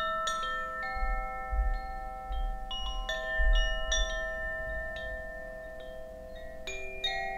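A hollow bamboo Koshi wind chime with a wooden clapper is held by its cord and shaken. It gives irregular, overlapping strikes of clear, sustained ringing tones with bright upper partials, centred near 2.9 kHz, over a soft low rumble. The notes layer into a shimmering wash that lingers for more than a second after each strike.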